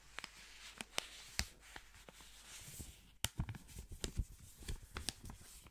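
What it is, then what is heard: Paper banknote crinkled. Black-gloved hands fold and crinkle a single thin blue paper banknote, then hold it up. Quiet, sharp paper crackles and snaps come in an irregular series over a soft, bright hiss. The brief crisp rustles fade almost instantly.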